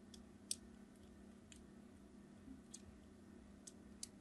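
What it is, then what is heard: Glycerin soap bar being scratched. A craft knife blade tip scratches crosshatch lines into a solid red translucent glycerin soap bar held in the hand. Six short, crisp, high scratching ticks sound over a low steady background hum, the second one the loudest.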